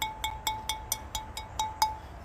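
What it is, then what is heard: Well-fired ceramic planter, sound and uncracked. A barrel-fired ceramic planter, just taken from the kiln, is flicked nine times with a finger, each flick giving a short, clear ring at about 870 Hz with bright overtones that fade quickly. The planter rings clearly, a sign it is well fired and free of cracks.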